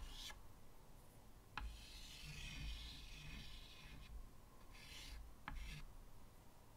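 White chalk draws swirling, scratching strokes near the bottom edge of a medium, flat chalkboard set in a wooden frame. The chalk produces soft, bright rasping scrapes of varying length over a low background hum, with two sharp taps where the chalk strikes the board.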